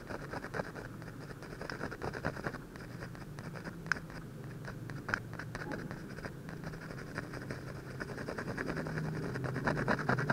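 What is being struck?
Ballpoint pen on paper sheet.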